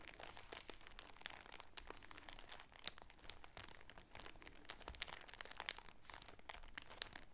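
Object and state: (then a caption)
Plastic-wrapped shower curtain being crinkled. A plastic-wrapped striped shower curtain package is held in both hands and crinkled and rubbed with the fingertips. A steady, quiet, bright crinkling runs throughout, broken by many sharp, brief crackles and snaps concentrated in the high range.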